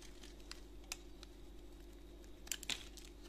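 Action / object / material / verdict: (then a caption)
scrape / bar of soap scraped with a knife blade / soap / none. A utility knife blade scrapes a solid white bar of soap held in a gloved hand, shaving off flakes that fall onto a pile. Soft, bright crinkling scrapes come in quick, dry bursts over a steady low hum, with the sharpest strokes near the end.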